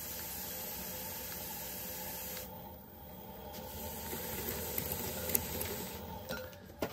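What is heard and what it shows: A metal trimming tool, guided by the fingertips, scrapes and trims the foot of a medium-sized, hollow, leather-hard unfired clay bowl set upside down on a spinning potter's wheel. A steady, bright, hissing rasp runs throughout, dips briefly near the middle, then grows rougher and louder. Four sharp ticks stand out toward the end.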